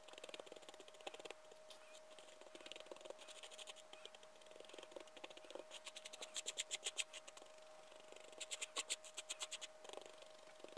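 A liquorice stick held in a gloved hand scratches and rakes through a small pile of loose white sherbet powder on a flat white surface. Quiet, bright, dry scratching and gritty rustling run throughout, with bursts of quick, rhythmic raking strokes near the middle and again toward the end. A faint steady tone hums underneath.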